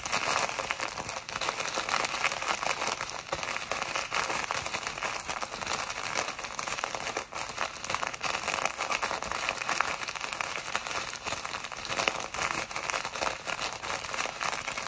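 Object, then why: Small plastic bag of foam beads. A small clear plastic packet full of tiny colored foam beads is held in both hands and squeezed, rubbed and scratched with long acrylic nails. It produces a steady, dense crinkling and crackling with a bright, hissy texture and almost no low end.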